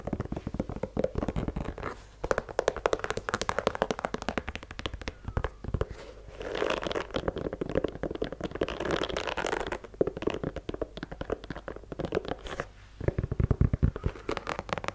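Long nails tap and scratch the rubber sole of a white leather sneaker held sole-out. Rapid, dry clicking taps with a low thump come in quick bursts. A stretch of denser, rougher scratching runs through the middle before the tapping resumes.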